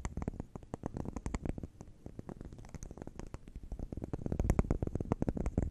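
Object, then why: Solid wax candle shaped as a cube of round bubbles. Long neon acrylic nails tap and scratch a hand-sized solid wax candle shaped as a cube of round bubbles, held in the hands. A rapid, dense run of short, dull, low taps comes with soft scratching between them, each tap dying away at once. The tapping grows louder and busier toward the end.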